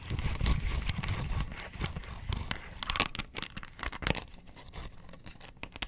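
Long nails scratch across the ridged surface of a round, hollow, ribbed yellow plastic box lid held in the hand. The result is a dense run of rasping, crinkly scrapes with a soft low rumble underneath and sharp, bright scratchy bursts that stop quickly.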